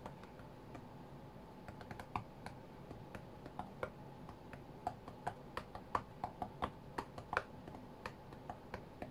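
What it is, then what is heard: Glass tablet screen being tapped. Fingertips rapidly tap and slide across the glass touchscreen of a flat white iPad lying on a mat. The result is a quiet, irregular patter of short, dry clicks with a bright edge over a faint steady hiss, a few taps landing noticeably harder than the rest.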